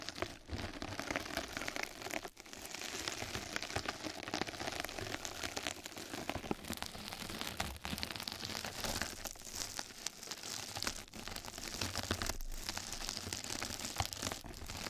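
Two mascara brushes scratch and brush across a flat, soft, padded yellow knitted-mesh scrub sponge pad lying over the microphone. The result is a dense, continuous, bright crinkling and scratching texture, close to patter, with brief dips in level around 2.3, 7.7, 11 and 12.4 seconds.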